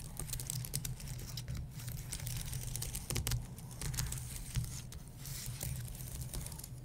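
Painted nails scratch along the top rows of a white low-profile keyboard with plastic keys on an aluminum base, and fingertips tap the keys. Bright, dry scratching rasps mix with quick, soft clicking taps over a steady low hum throughout.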